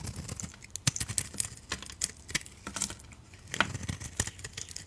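A utility knife blade shaves the outer layer off a solid oval orange soap bar with a black glitter coating and a beige core, held in the palm. It makes a quick run of short, dry, crisp scraping clicks and crackles, bright and sharp with a soft low thump beneath and almost no ring. The outer coating is stripped away in thin shavings.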